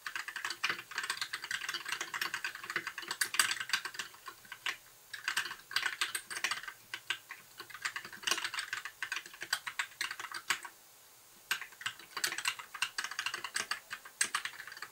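A compact white mechanical keyboard with plastic keycaps, blue backlight and a hollow case is typed on with the fingertips of both hands in continuous tapping. Its keys give quick, dry, bright clicks with almost no low end and a short pause near the eleventh second.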